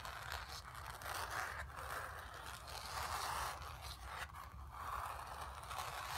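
Long nails scratch across a painted, stretched canvas, giving dry, raspy scraping strokes that swell and fade in a loose, uneven rhythm. The scratching sits mostly in the midrange with some bright hiss above it, over a faint steady low rumble.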